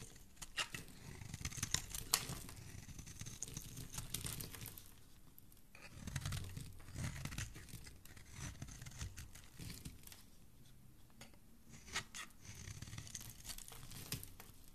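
A partly hollowed bar of solid green soap is held in the fingers while a metal blade scrapes long shavings from its surface. Quiet, dense scraping and tearing rasps run in bursts with bright crisp crackles over a soft low rumble.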